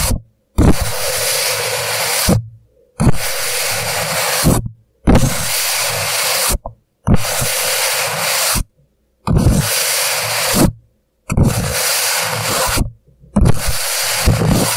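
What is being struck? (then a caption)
Empty paper cup. Fingertips rub and scratch along the paper walls of an empty, hollow paper coffee cup turned upside down. Eight bursts of dense, bright scratchy friction noise, each lasting about a second and a half, alternate with short silences. A hollow low thump sounds as the fingers strike and leave the cup.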